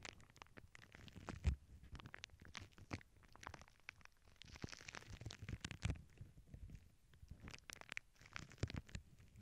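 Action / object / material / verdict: tap / plastic bubble wrap sheet / plastic / none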